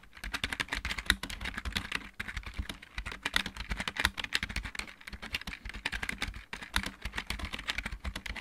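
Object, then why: Plastic mechanical keyboard. Fingertips of both hands type fast on a full-size backlit mechanical keyboard with plastic keycaps. It makes a dense, rapid stream of short, dry, bright clacks over a low thud. The typing pauses briefly near 2, 5 and 6.5 seconds before carrying on.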